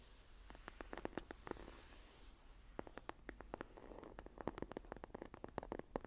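Fingertips and long nails tap and scratch the cover of a closed dark green textured leather journal. Quick, dry, sharp taps come in an uneven run, with soft scratchy rubbing between them. The sound stays quiet and close throughout, with a faint low background hum.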